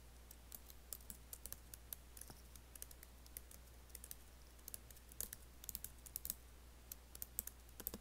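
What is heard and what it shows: Fingertips type on an Apple laptop keyboard with black plastic keys and an aluminium body, producing a steady stream of quick, light, bright clicks. The clicks are short and dry over a constant low hum.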